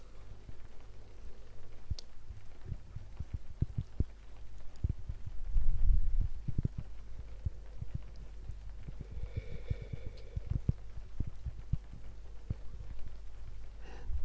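A round, flat, solid palm-sized cork coaster is tapped and scratched with long painted fingernails close to a binaural microphone ear. Soft, dull, irregular taps mix with scratchy brushing over a low, steady hum, with a faint rain-like hiss possibly in the background.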